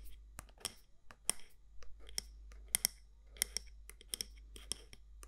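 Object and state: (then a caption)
Candle jar tapped and scratched with nails. Long nails tap and scratch along the side walls of a medium matte black candle jar with a gold lid. About eleven sharp, bright clicks stand out over soft, quiet scraping, each tap dying away almost instantly above a steady low hum.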